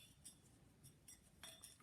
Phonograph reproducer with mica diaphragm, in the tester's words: sound like you're getting a string on a guitar